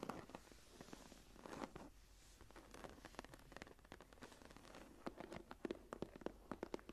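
Long nails and fingertips tap and scratch the raised pattern of a closed brown embossed leather journal cover lying flat. Soft, dry scratching and rustling fill the first half, then sharper, quick taps come through more clearly toward the end. All sounds stay quiet and short, with no ring.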